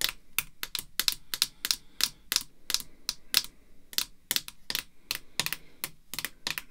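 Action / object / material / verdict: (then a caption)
tap / hard plastic card slab tapped with fingernails / hard plastic / none. Long red fake nails tap on a clear hard plastic graded slab holding a "Pride of N.L." card. About 25 quick, dry, bright clicks follow one another in an irregular rhythm, with almost no low end and no ring after each tap.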